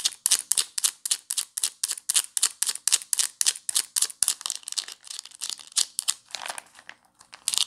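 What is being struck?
Ridged plastic screw cap on a plastic bottle.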